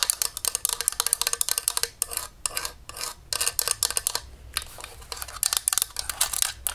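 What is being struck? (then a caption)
Desktop stapler, plastic shell over metal. A beige desktop stapler with a hollow plastic shell over metal is tapped and scratched on its top and bottom with long nails. Rapid, crisp clicking taps and rasping scratches come in quick bursts with brief pauses, sounding bright and dry with almost no ring or low end.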